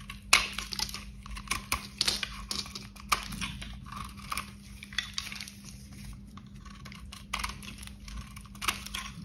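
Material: Soap.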